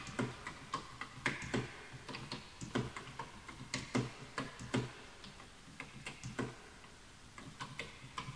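Fingertips type quickly on a full-size bamboo wood computer keyboard with wooden keys, while the mouse is left untouched. A rapid, uneven run of short, dry clicks and taps follows, each with a bright attack and a soft low knock beneath it, decaying almost at once. The typing eases into sparser, quieter taps near the end.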